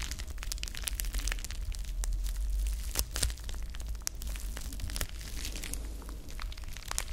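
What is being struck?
Folded plastic bubble wrap.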